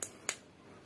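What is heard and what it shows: Two short, dry knocks on the lower part of a jumbo Elco firecracker, the second about 0.27 seconds after the first. Both are bright and clicky with almost no low end, and they die away almost immediately. The lower part of the firecracker sounds solid.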